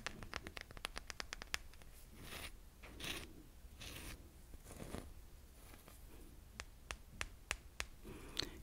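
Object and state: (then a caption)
Selenite crystal wand. Fingernails tap and scratch along the fibrous surface of a long, solid white selenite (gypsum) crystal wand about hand length, held in both hands close to the mic. A fast run of sharp, bright clicks opens the clip, then gives way to slower, breathy scraping swells in the middle, and further crisp taps return near the end. The sound is quiet and dry, with no ringing after each tap.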